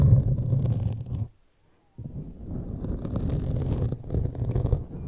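Pointed metal claw fingertip extensions on both hands scratch and tap a solid, soft black foam windscreen on a large microphone. The result is a dense, muffled, low rumbling scrape with soft thuds. It breaks off into near silence for about half a second before resuming just as steadily.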